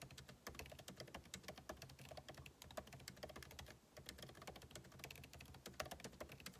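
Two hands type continuously with their fingertips on a backlit MacBook Pro laptop keyboard, its plastic keycaps set in a hollow aluminum case. Quick, dry, closely spaced key taps with a bright click and a low thump overlap, with a brief lull near the four-second mark before the steady tapping resumes.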